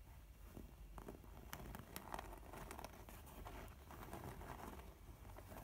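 Long nails scratch and tap the printed front of a filled, mint-colored textured faux leather makeup pouch while fingers squeeze it. The result is a quiet, steady stream of soft crinkling and scratchy patter with light, brief taps over a low, dull rumble.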